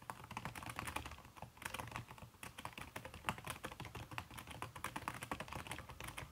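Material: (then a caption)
Silicone. Fast typing with fingertips and long red-painted nails on a backlit aluminium laptop keyboard whose plastic keys are covered by a red silicone skin. A dense, continuous stream of soft, muffled key taps with short, dull clicks and little ring is heard throughout.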